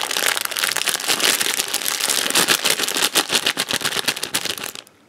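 A purple printed plastic candy packet for Wispa bars is crinkled and rubbed between the fingers. It makes a dense, bright crackling crinkle, mostly in the high frequencies, with quick sharp snaps running continuously for about five seconds before stopping abruptly.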